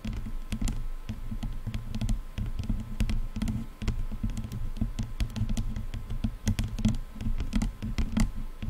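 Long nails tap quickly on the black plastic headband of a pair of over-ear headphones. Dense, rapid, sharp clicks patter over a steady low rumble, each tap dying away almost at once.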